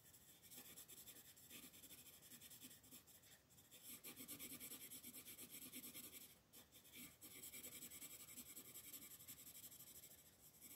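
A dark colored pencil is rubbed in rapid scribbling strokes across a flat paper coloring book page while the other hand, with long nails, holds the page flat. The result is a quiet, continuous, bright scratchy rasp with a steady back-and-forth texture, briefly easing around the middle before resuming.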